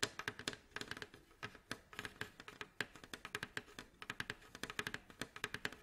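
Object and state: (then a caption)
Wooden mandolin back. Fingernails tap rapidly on the varnished staves near the neck joint of a mandolin's hollow, glossy, striped wooden bowl back, giving about 39 quick, dry, clicky taps. Each tap is bright and crisp with a faint hollow body tone, very little low end, and dies away almost at once.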